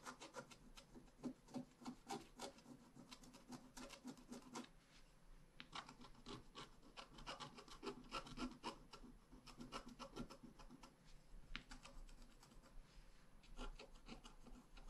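A wooden stylus scratches a heart motif on the right side of a flat, black-coated scratch art paper card held down with one hand. Quick, dry, rasping strokes come in irregular bursts with brief pauses, each stroke short and bright with little ring.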